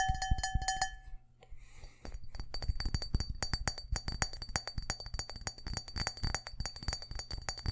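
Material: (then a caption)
Glass. A medium clear cut-glass bowl, hollow and empty, is held in one hand and tapped fast with fingertips and nails. A few ringing glassy clinks open the clip, then a brief soft rustle and a dense stream of quick, dull taps with sharp clicks and a faint high ring.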